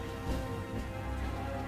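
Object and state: Nothing is struck.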